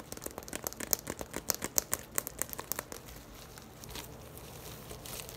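Long nails scratch over the woven surface of a hollow braided straw tote bag, first standing upright and then tilted. A quick, uneven run of crisp, bright scratches and crinkly rasps lasts about three seconds, then eases into a quieter, steady brushing scratch.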